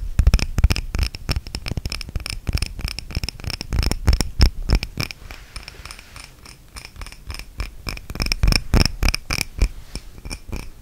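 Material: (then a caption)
Glass. A small clear glass candle holder, a jar filled with red wax, is held close to the microphone and tapped and scratched with long red-painted nails. Quick, uneven clicks and taps come in dense bursts with soft scratching between them, each tap carrying a low thump and a brief bright glassy ring. The tapping eases in the middle before picking up again toward the end.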